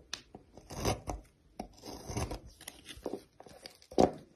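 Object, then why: Solid bar of soap cut with a metal knife. A solid green oval bar of soap, held by fingers with long blue nails, is sliced and shaved with a metal knife while green shavings pile up. Quiet crisp scraping and crunching cuts come in short irregular bursts, with a louder sharp snap near the end.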